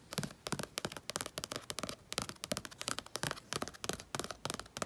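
Fingertips with painted nails scratch and rub the thick paint of a full-moon painting, moon and sky, on a page of a spiral sketchbook. A quick run of about thirty short, dry, crisp scratches and taps comes through with bright, papery texture and no ring after each stroke.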